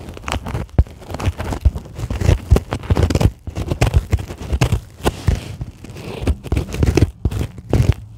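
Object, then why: Polyethylene foam packing sheet. Long acrylic nails scratch and tap a white polyethylene foam packing sheet lying on a table. The sound is a dense run of soft crinkly scrapes and quick, dull taps, mostly low and thumpy with little brightness. Each tap dies away almost at once.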